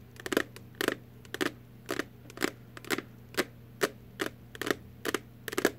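Long artificial nails tap on an empty little cardboard Warheads candy box, making short, dry, clicky taps with a bright edge. The taps come in quick, irregular clusters and die away almost at once. A steady low hum sits underneath.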